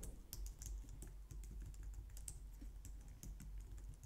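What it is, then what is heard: Plastic computer keyboard being typed on. Long nails and fingertips type on the keys of a compact, low-profile white plastic computer keyboard. The result is a steady stream of quiet, quick taps with bright clicky tops over a low, constant rumble.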